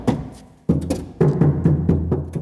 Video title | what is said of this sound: Car Door Soundproofing - How does sound deadening work in the car? | there is already a bit of sound deadening on the sheet metal, it all sounds very hollow